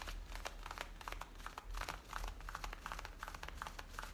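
Long painted nails and fingertips scratch and rub the waistband and the top of the back pocket of worn, light-blue distressed denim jeans. The result is a quiet, steady run of quick, dry scratchy strokes with bright fabric rasps, over a low background hum.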